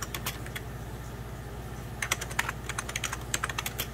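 Fingertips type and tap on the keys of a beige plastic 1990s Packard Bell computer keyboard resting on white cloth. Sharp, bright clicks come sparsely at first, then in a quicker, denser run over a steady low hum.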